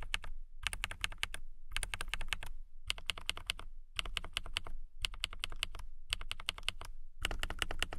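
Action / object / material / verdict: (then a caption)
tap / transparent acrylic mechanical keyboard / acrylic plastic / none. Fingertips and long nails type on a transparent acrylic mechanical keyboard with clear plastic keycaps. Eight bursts of rapid, bright, clicky keystrokes come through, separated by brief pauses, with a soft low thump under each run. The keys stop dead with no ring after each press.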